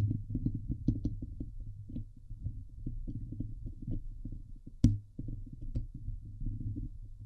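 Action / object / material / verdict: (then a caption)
scrape / metal mesh microphone grille / metal mesh / none. Long glittery nails scratch the hollow metal mesh grille of a Blue Yeti microphone, making a dense, boomy run of low scraping thumps and rustles with little high end. One sharper, louder knock stands out near the middle, then the close, muffled scratching continues steadily.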